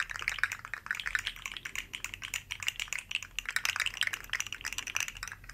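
Two identical rainbow-colored articulated plastic slug fidget toys made of hollow segments are held one in each hand by the tips and shaken and wiggled close up. Their segments click and rattle together in a dense, uneven stream of short, dry clicks that die away almost instantly. The sound is bright and crisp, centered in the upper mids with plenty of high content and almost no low end.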